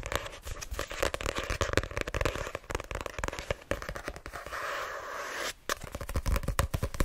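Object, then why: Paperback book with card cover. Long nails rapidly tap and scratch the card cover of a small, solid white paperback of "My Name Is Lucy Barton" while it is gripped. The sharp, dry clicks come in quick bursts, broken by a steadier scratching rasp just before the tapping picks up again.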